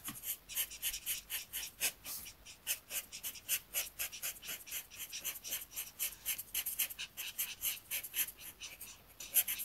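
A black marker tip rubs across a thin, flat paper coloring sheet in repeated short strokes while the other hand steadies the page. Quick, dry, bright scratchy swishes come about four per second at an uneven pace, with almost no low end and no ring after each stroke.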